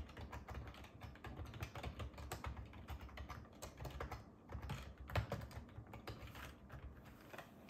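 Two hands type steadily on a black ergonomic plastic keyboard with a hollow plastic body resting on a wooden desk, fingertips tapping the keys throughout. The result is a continuous stream of quick, soft clicks and muffled low thuds, each dying away almost instantly, with little high-end brightness.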